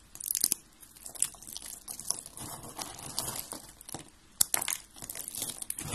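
Fingers crush and rub white and blue dry soap flakes. The result is a dry, bright crunching and crinkling in irregular bursts, with sharp crackles standing out over a steady rustle and almost no low end.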